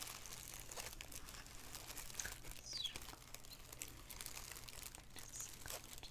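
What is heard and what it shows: A black, thin plastic shower cap with an elastic edge lies empty and flat on a wooden table while both hands crinkle and rub the film with fingertips and nails. It makes a continuous, quiet, bright crinkling and rustling with brief crisp crackles, over a steady low hum.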